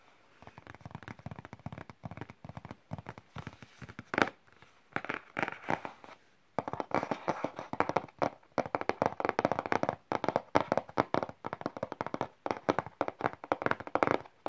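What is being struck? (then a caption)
Flat cardboard box. Fingertips and nails tap and type on the printed keys of a flat printed cardboard box for a wireless keyboard resting on a lap. Rapid, dry, papery clicks come in dense bursts with short pauses, centred in the mid-range, with one sharper tap standing out just after four seconds. Each tap dies away almost instantly with no ring.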